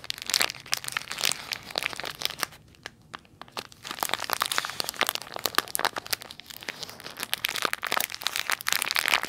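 The edge of a clear plastic packaging bag with a perforated seal is squeezed and crinkled between fingers with long nails. Dense, bright crackles and sharp crinkles dominate, with a brief quieter pause near the middle. The crinkling then resumes in rapid bursts to the end.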